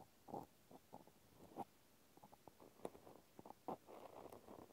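A cotton swab scratches and pokes inside the round hole of a small pink plastic clothespin held in one hand. Soft, muffled scratchy rustles come in irregular bursts, broken by a few brief, sharper clicky pokes, all quiet and close with no ringing afterward.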